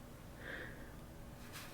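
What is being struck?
Nothing is struck.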